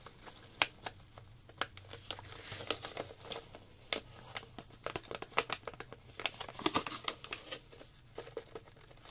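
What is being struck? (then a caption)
Small plastic zip-lock bag holding tablets. A small clear plastic zip-lock packet holding a few round coloring tablets is held in the hands while long black nails and fingertips crinkle and handle it. Bright, dry crinkles and sharp clicks come in quick, irregular bursts for about nine seconds. Each sound stops almost instantly, leaving quiet gaps between them.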